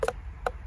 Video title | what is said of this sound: SCTवैदिक टरबूज🍉3प्पट उत्पन्नाची गॅरंटी💪लाली,गोडी पाहून प्रेमात पडाल😍5 स्प्रे मध्येच हार्वेस्टिंग👆 | आवाज येतोय कुचून असं त्यात भरून अस गच्च गच्च भरलय गच्च भरलय टस्टसीत भरलय अस आवाज येतोय